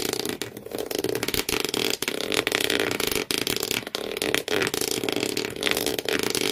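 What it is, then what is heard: Cardboard shoe box scratched with fingernails. Thumbnails, then all the fingernails, scratch fast across the corrugated cardboard floor inside an empty shoe box. The result is a dense, bright, rasping scratch with a steady mid tone underneath. It runs nearly continuously, with brief dips between strokes.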